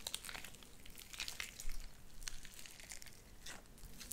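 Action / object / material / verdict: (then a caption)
scrape / sticky slime with small beads / slime / none. Light-blue sticky slime with white beads is pulled apart and squished between both hands. Quick, bright crackling pops and crinkly bursts come in scattered clusters over a soft, low rumble, and the whole clip stays fairly quiet.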